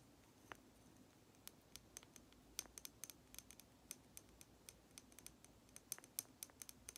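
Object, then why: Lacquered wooden nesting doll. Long nails tap and scratch a small, hollow, red lacquered wooden matryoshka doll held in one hand. Around 29 quiet, sharp, bright clicks come at an irregular pace over a faint, soft scratching hiss, each tick dying away almost instantly.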